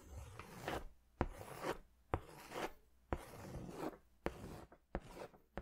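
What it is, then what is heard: Paper drawing pad being scribbled on with crayon. An orange wax crayon or oil pastel is rubbed and scratched in quick strokes across a large white paper sketch pad, held upright, with thin sheets on a firm backing. Soft, rasping scrapes swell and fade in an uneven rhythm. Short, sharp ticks cut in between the strokes.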